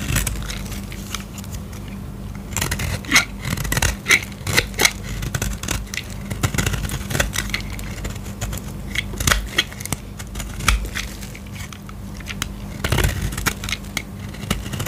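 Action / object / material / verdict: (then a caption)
scrape / soap bar scraped with a knife blade / soap / none. A metal utility-knife blade with an orange handle scrapes and cuts along the edge of a solid oval blue dry soap bar held in the hand, lifting brittle shavings. Many short, crisp, crackling scrapes and bright clicks come one after another over a steady low hum.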